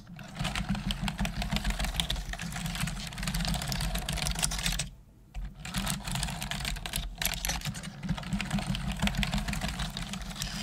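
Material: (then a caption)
Plastic. Long nails and fingertips type rapidly on the hollow keys of a black plastic desktop computer keyboard, making a dense stream of bright, clicky taps over a steady low hum. The typing breaks off for a brief pause around the middle before resuming at the same pace.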